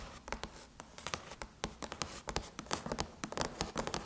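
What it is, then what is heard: Aluminum laptop lid. Long chrome nails scratch and tap around the Apple logo on a closed silver aluminum MacBook lid. Quick, bright clicks and short scratchy strokes sound over a soft, steady hiss. Each tap dies away almost instantly.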